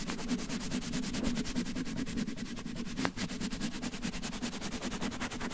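Fingertips rapidly scratch and rub a red cotton terry towel covering a microphone. The result is a close, steady stream of soft, brushy scratches with a muffled low rumble underneath and a bright, hissy edge, with one slightly sharper stroke about halfway through.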